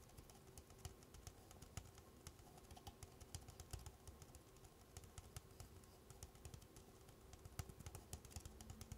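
Long black-painted nails tap and scratch the side wall of a hollow, empty red plastic party cup, apparently two stacked, held on its side. The result is a quiet, continuous stream of rapid, dry clicks and soft scratching with bright, sharp ticks over a low, muffled thump, each tap dying away almost instantly.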